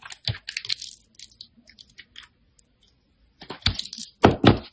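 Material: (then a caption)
Soap. A metal utility blade scrapes across a handheld solid orange bar of soap and slices off thin sheets, making crisp, bright crackling and tearing sounds. Bursts of dry scraping open the clip and thin out to faint, scattered ticks in a quiet middle stretch. Louder, fuller cuts follow at the end.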